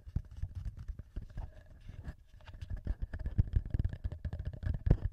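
Short nails and fingertips of both hands tap and scratch the top housing and two metal-ringed microphone capsules of a small, solid black plastic TASCAM handheld recorder. The result is a rapid, uneven stream of soft, deep thumps with a faint scratchy rustle. Quiet tonal traces ring around 600 Hz and 1.7 kHz.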